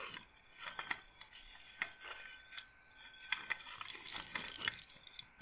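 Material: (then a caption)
Wood. Long nails scratch along and roll the rows of wooden beads on a wooden-framed bead roller massager. Quiet, sharp, bright clicks and clacks come in an irregular run, each dying away almost at once, over a soft scratchy hiss. The sound sits mostly in the upper range, with almost no low end.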